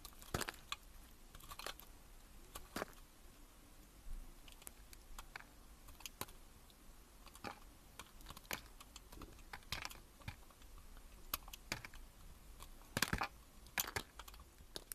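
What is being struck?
Soap bar cut with a metal blade.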